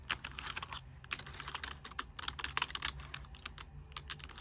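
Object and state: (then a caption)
Plastic computer keyboard. Fingers with long nails type on a white plastic full-size keyboard, whose backlight switches on partway through. Quick, bright tapping and clicking clatters in uneven bursts with very short decay, over a faint steady low hum.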